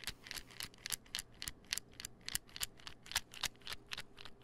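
A small white plastic supplement pill bottle with a gold label, cap on, is held in one hand and tapped and scratched with fingernails. About eighteen quick, dry, bright clicks come at an uneven, rapid pace, each dying away almost at once, with faint scratching between them.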